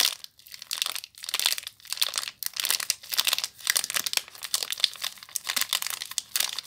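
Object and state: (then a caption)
Plastic-wrapped soap bar. Long nails crinkle and rub the clear plastic wrapper on a small bar of soap. The result is a dense, bright, dry crackle with almost no low end, coming in quick bursts separated by short pauses.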